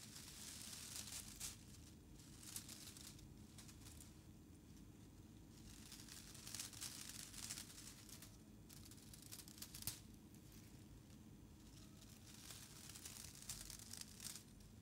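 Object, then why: Pile of shredded paper strips. Fingertips with painted nails squeeze, crumple and rustle a loose pile of thin, light black shredded paper strips on a white table. Soft, bright crinkling bursts come and go over a steady low hum. The rustle stays quiet and uneven throughout.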